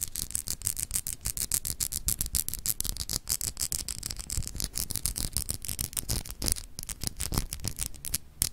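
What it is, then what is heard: Glass globe paperweight scratched with nails. Long pink acrylic nails scratch rapidly over the etched, textured continents of a palm-sized solid clear crystal glass globe paperweight held in one hand. The result is a dense run of short, dry, bright scratches and ticks with dull low bumps underneath, each stroke stopping almost instantly.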